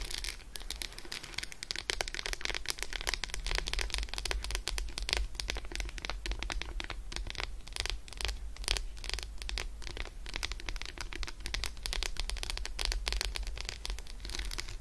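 Long acrylic nails on both hands rapidly scratch the embossed squares of an unwrapped, solid Roshen dark chocolate bar with almonds lying on a fur rug. The result is a dense, continuous stream of bright, crisp scratching clicks over a steady low hum.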